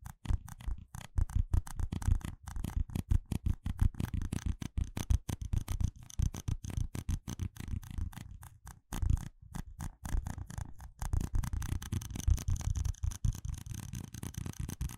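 Fingertips tap and rub the sides and base of a small, hollow, empty red plastic cup with ridged rings, held upside down in a hand. Rapid, dense, dull taps with a hollow low tone around 145 Hz each die away almost instantly, mixed with faint scraping rubs and only a thin trace of high brightness. The tapping runs nearly continuously throughout, with a few brief pauses.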